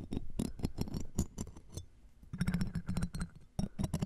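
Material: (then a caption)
Metal. Metal tweezers and a pick scrape and poke at a metal mesh microphone grille set inside a jeweled earring frame. Dense, scratchy bursts of rustling and crackling come in two busy stretches, with a quieter lull in the middle. A deep, muffled thump and rumble sits under bright, crisp clicks.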